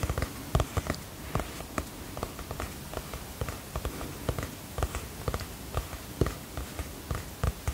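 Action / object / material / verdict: tap / hardcover notebook with cardboard cover / cardboard / none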